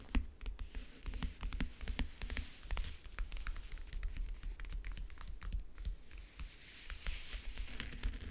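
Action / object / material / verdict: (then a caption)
tap / covered backgammon case / unknown / none. Fingernails scratch and tap across the lid and the front edge near the clasps of a closed, hollow backgammon case with a map-print covering. The result is a steady run of quick, dry taps and scratchy strokes that die away almost instantly, over a constant low hum.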